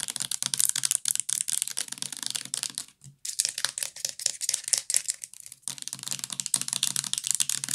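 Long nails tap fast on the plastic body and cap of a full purple plastic bath liquid bottle. The result is a dense stream of sharp, bright clicks with almost no ring, broken by a brief pause around three seconds.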